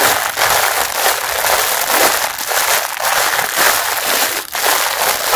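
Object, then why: Mesh bath sponge in a thin plastic wrapper. Fingertips crumple the ends of a clear plastic wrapper around a packaged pink mesh bath sponge and squeeze the package. The result is a steady, dense crinkling and crackling that is bright and papery, with almost no low end, and it briefly dips near the end before continuing.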